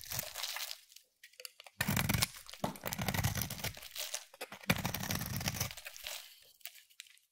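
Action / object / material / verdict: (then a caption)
scrape / solid bar of soap / soap / none. A utility knife blade scrapes across a palm-sized solid bar of soap with a pearly blue coating and pink interior, held in the hand, shaving off curls. Dry, crunchy, crinkling scrapes come in long strokes with short pauses between them, with a full low body under a bright, hissy edge.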